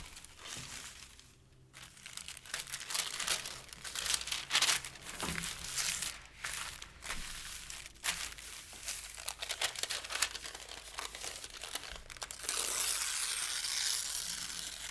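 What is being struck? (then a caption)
Thin paper sheets. A pile of thin pale-green paper sheets is pressed flat with open palms, then rubbed and crinkled with the fingers. Dense, bright crinkling and rustling with quick crackles swells and fades throughout. It ends in a steadier, brighter papery rustle over the last few seconds.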